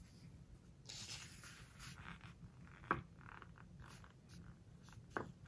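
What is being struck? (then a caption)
Glossy paper pages of a hardcover book. Fingers lift, squeeze and turn a glossy page of a large open hardcover book, with nails rubbing over the glossy paper. Quiet, papery swishes and rubbing scrapes are heard against a low background rumble. Two sharper, crisp crackles stand out as the page is squeezed.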